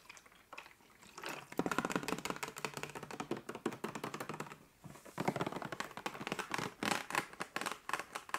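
Long nails tap and scratch the ridged surface of a hollow 1.5 L clear plastic water bottle that is partly filled with water. Quiet scratching builds into a fast run of crisp, clicky taps, pauses briefly near the middle, then resumes just as busily.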